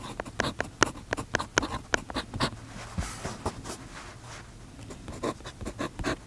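A steel fountain pen nib scratches across an open paper notebook page on a desk, writing vertical lines of text while the other hand holds the page flat. Short, sharp scratchy strokes come in quick bursts, then a softer, smoother stretch of writing, then more strokes near the end.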